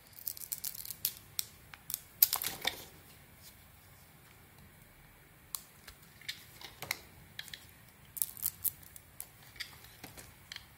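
A small metal blade shaves and scrapes thin curls off the surface of a hand-sized, solid cream-coloured bar of soap held in one hand, with the shavings piling up underneath. Crisp, bright scraping clicks and short crackles come in quick bursts, with a quiet pause in the middle before the shaving resumes.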